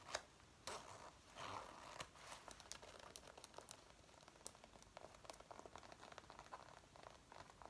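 Long painted nails and fingertips scratch and rub the front and waist of a worn dark brown faux leather jacket. The soft, thin synthetic leather gives quiet, crinkly scratching and rubbing sounds with many sharp little clicks.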